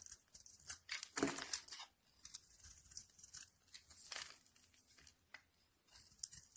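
A utility knife blade scrapes curled shavings off the face of a hand-held, solid, rectangular, rancid cream soap bar. Dry, bright, crinkly scraping and tearing strokes come in an uneven rhythm, the loudest and longest near the start. Each stroke stops short with little ring, between quieter scratchy passes.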